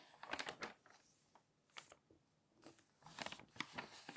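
Fingernails pinch and flip the pages of a thick, open glossy paper magazine while a hand smooths them flat. Crisp, bright paper rustles and crinkles come in short bursts, with quiet pauses between them.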